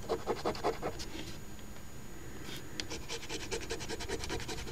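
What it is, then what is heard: Scratch-off lottery ticket being scratched. A coin edge held in the fingers scratches the coating off the letter squares of a thin paper $10 Crossword Deluxe instant lottery ticket from Ontario's OLG, lying flat on a table. Quick, uneven scraping strokes come in bursts, with a brief quieter pause midway before the rapid scratching resumes.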